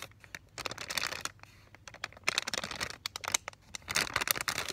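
A flat, sealed medical peel pouch, about 25 cm long with paper on one side and plastic film on the other and holding a thin strip of Vaseline gauze, is held and flexed in both hands while fingertips and short manicured nails rub and crinkle it. The result is bursts of bright, dry crinkling and crackling with short quieter pauses between them.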